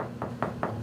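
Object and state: Hollow cracked wall tile.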